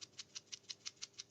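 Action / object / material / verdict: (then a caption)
shake / plastic tablet tube cap holding silica gel / plastic / none. A plastic vitamin C tablet tube, used as a weatherproof enclosure, is shaken so the moisture-absorbing silica gel held inside its cap rattles. Eight quick, bright, high-pitched rattles arrive at a steady rhythm, each dying away almost instantly, with no low end. The silica gel moves freely inside the cap as intended.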